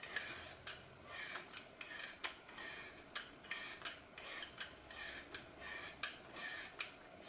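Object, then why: Floral foam block. A solid green floral foam block with a glitter-coated starch surface is held in hand while pieces are cut and scraped off its edge with a small blade over a glass bowl. A steady series of crisp, bright rasping crunches follows, each short and dry with almost no low end.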